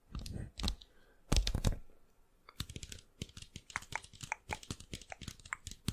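A thin, flat, rigid 12-inch cardboard LP jacket (Nirvana Nevermind), possibly with a record inside, is held up close and tapped with long fingernails and fingertips. The result is a rapid run of dry, clicky, typing-like taps with very short ring. Two denser bursts of low, muffled handling come early, followed by steady bright ticks.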